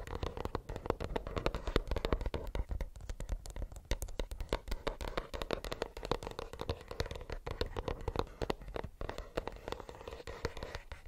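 A plastic earbuds case is tapped rapidly with fingernails, giving a dense, continuous stream of short, dry clicks. The taps have little ring and carry a low thump with a midrange body.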